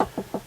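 Three knocks on the thin plastic lid of a Massimo CX50 portable fridge, each a short, dull tap with a brief midrange ring. The lid sounds hollow and empty, unlike the thicker Dometic lid.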